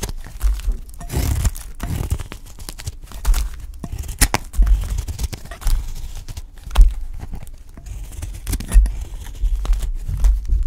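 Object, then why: Bar of soap shaved with a knife blade. A solid, dry cream-colored soap bar held in the hand is shaved and scraped by a utility knife blade, cutting off thin curls. Dense, crisp scraping and crumbling crackles repeat throughout, with a heavy low rumble beneath and brief bright bursts of shaving texture.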